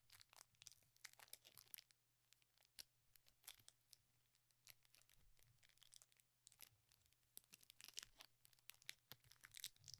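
Fingertips crinkle, fold and tear the foil wrapper of a small metallized plastic Pokemon Trick or Trade booster pack with cards inside. The result is quiet, bright crackling and sharp tearing in dense, irregular bursts, with brief softer pauses between them.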